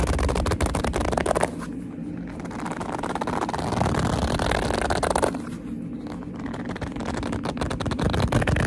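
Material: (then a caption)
Leather. Fingertips grip and squeeze a hollow black leather purse, creasing the leather. The result is a dense run of squeaky, crinkling scrapes with a low, muffled body, easing into two softer, duller stretches before the sharper creaks return.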